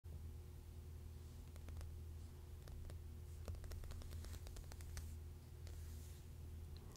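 Long painted fingernails tap and lightly scratch the glossy cover of a water-damaged Pioneer Woman paper magazine lying flat on a plaid cloth. Sharp, dry little clicks and faint scratches scatter over a steady low hum, each tap stopping almost instantly.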